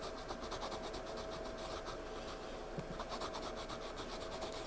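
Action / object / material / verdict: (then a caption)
scrape / pencil on paper sketchpad page / paper / none. A pencil scratches and shades in small strokes on the page of a spiral-bound paper sketchpad lying flat. It makes a quiet, steady, dry rasping with rapid, evenly repeated short strokes that carry a bright, papery hiss, over a faint constant hum.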